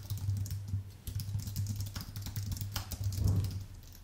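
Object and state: Plastic and aluminium keyboard.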